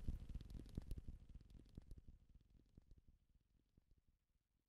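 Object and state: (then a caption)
Leather belt tapped. A leather belt is tapped quickly, giving a rapid, uneven run of soft, dull, low-pitched taps with almost no ring. The tapping is busiest and loudest at the start, then thins out and fades steadily toward the end.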